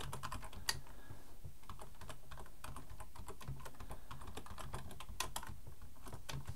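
Both hands type with their fingertips on a black plastic full-size computer keyboard resting on a wooden desk. Quick, bright plastic key clicks patter along steadily over a constant low hum, with each keystroke dying away almost instantly.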